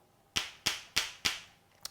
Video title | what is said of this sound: Christmas Eve: Pop's Baccala & Zuppa di Clams E7 | sounds like two um balls that are billiard balls right hard solid not hollow